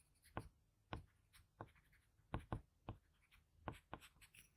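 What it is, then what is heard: Pencil scratching on drawing paper. A blue patterned graphite pencil makes steady scratching strokes on a flat sheet of drawing paper, shading the eye of a portrait. The clip is a quiet series of short, dry scratches with crisp bright edges, each stopping almost at once, with brief pauses between strokes.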